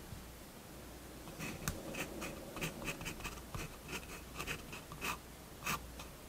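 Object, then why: Fineliner pen on paper sketchbook page. A fineliner pen draws short strokes on the paper page of a spiral-bound sketchbook resting on a wooden table. Quiet, bright scratching strokes come in an irregular series over a low, steady background hum.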